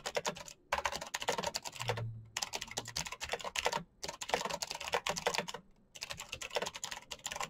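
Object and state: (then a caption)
Plastic mechanical keyboard with clicky switches. Fingertips type fast on the clicky green switches of a full-size black plastic Razer mechanical keyboard with RGB backlight. Rapid bursts of bright, crisp clicks and clacks are broken by brief pauses, and each keystroke dies away almost instantly.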